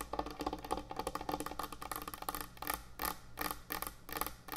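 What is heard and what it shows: Long nails tap quickly and scratch across the top of a large, thick, solid end-grain hardwood butcher block cutting board. The result is a fast run of dry, woody clicks with a hollow tone around 780 Hz, each dying away within about a tenth of a second, over a soft scratchy hiss that turns briefly brighter on some strokes.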